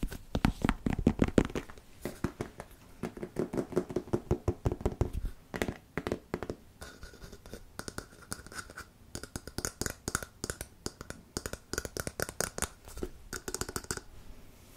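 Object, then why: Plastic squeeze tube of wood filler. A filled, medium white plastic wood filler squeeze tube is scratched and tapped with fingernails along its body while held up. The first few seconds bring rapid, dull, low-heavy taps with a hollow hum. Brighter, crisper bursts of fingernail scratching then continue in quick clusters to the end.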